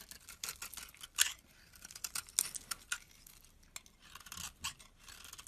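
A metal box-cutter blade carves and scrapes shavings off a solid rectangular White Dove bar soap with an embossed logo, held in hand. About eighteen short, crisp, bright scraping and slicing strokes come in quick, uneven bursts, with almost no low end and no ring after each cut. The sound is quiet and close.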